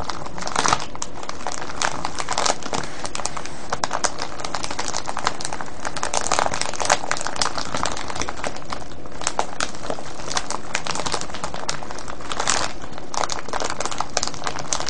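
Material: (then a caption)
Cellophane. A clear cellophane bag full of foil-wrapped candies is crinkled and scratched with both hands' fingertips and nails. The result is a steady, dense stream of crisp crackling and rustling, with bright, sharp snaps scattered throughout at an even loudness.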